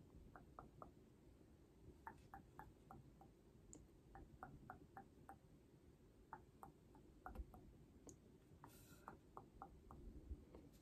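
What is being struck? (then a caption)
Cardboard album box. Long painted nails tap the top and sides of a holographic cardboard album box held below the face, making quiet, short, dry clicks. The taps come in small quick clusters over a steady low background hum.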